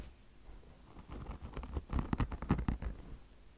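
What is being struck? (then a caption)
Mesh fabric over foam car wash sponge. A beige, peanut-shaped mesh fabric chenille car wash sponge, with a polyester mesh top over soft foam, is scratched with long blue nails. A quiet scratchy texture builds into a quick, irregular run of soft, low, dull scratching strokes that peaks around the middle and then fades back to near silence.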